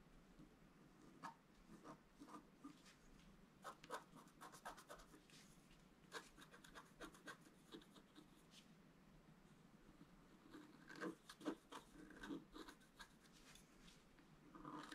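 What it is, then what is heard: Scratch art paper card. A wooden stylus scratches the tree details into a flat scratch art paper card. Quiet, dry scratching comes in many short, separate strokes over a soft hiss, with brief brighter scrapes that cluster more densely near the end.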